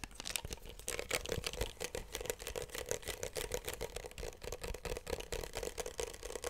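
A small pink plastic bottle with a cap, likely hollow with its fill level not visible, is held in both hands close to the microphone and tapped and scratched with fingertips and nails. Quick, dry, bright clicks and scratchy taps run steadily throughout, with a hollow knock-like tone around 500 Hz under each tap.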